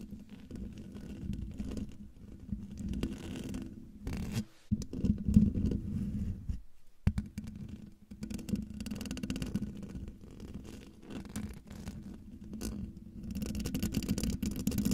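Long dark fingernails of both hands scratch the hollow metal mesh grille of a silver microphone. The result is a dense, low, rumbling scrape with a steady hum-like tone near 200 Hz and very little bright content. The scratching breaks off briefly twice, around 4.5 and 7 seconds, then resumes at a similar level.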